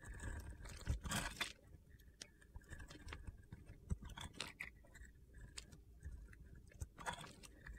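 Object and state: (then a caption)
Glitter-coated soap bar being carved. A metal box-cutter blade scrapes and carves crunchy slivers off a solid blue-glitter soap bar with a teal interior, held in the hand. Quiet, gritty scraping and crackling strokes come in quick, uneven bursts, with a few sharper cracks standing out.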